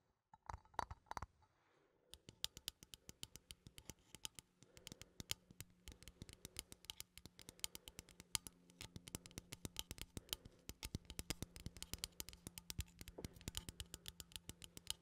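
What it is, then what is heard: Metal coffee tin. A small cylindrical metal coffee tin with a lid is held in one hand while fingernails scratch and tap its side and lid. The result is a quiet, fast, irregular stream of sharp, bright metallic clicks and taps over a soft scratching texture, with a low hum underneath.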